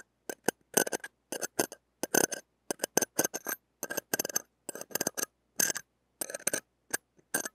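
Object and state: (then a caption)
Steel mesh microphone grille scratched with a metal pick. The tip of a stainless steel ear pick scratches and taps the mesh and ring of a small, hollow steel-mesh mini microphone grille. Short, bright bursts of rasping metal scrape and clicky clinks are broken up by brief silences. Each one stops dead with no ringing.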